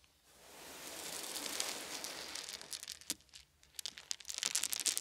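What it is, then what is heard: Wooden beads. Small solid wooden beads are scooped in cupped hands and poured back onto a soft blanket. A soft, bright rustling hiss swells and fades over the first few seconds, then gives way to a scatter of irregular, sharp little clicks and clatters.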